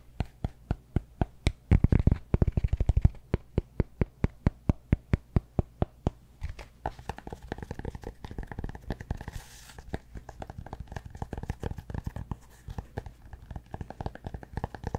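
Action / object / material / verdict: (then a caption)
scrape / cork block / cork / none. A large solid cork yoga block is held upright while fingernails scratch its top edge and face. The first few seconds are a steady run of short, dry clicks and scrapes, with a louder burst of dense scratching around the second and third seconds. It then settles into faster, denser scratching with almost no ring after each stroke.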